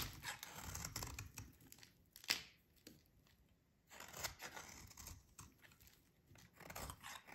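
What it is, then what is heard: Dry soap bar scraped with a blade. A metal utility blade shaves and scrapes a solid, dry yellow oval soap bar held in the hands, breaking off crumbly flakes. Bursts of bright, dry scraping and crunching come in clusters, with a sharp crack near the middle and quiet gaps between strokes.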